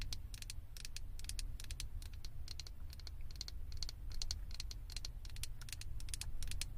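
Long acrylic nails on both hands tap and scratch a small hollow blue plastic/vinyl Stitch figure head fitted on top of a microphone. Rapid, bright, dry clicks and scratches patter unevenly over a steady low hum.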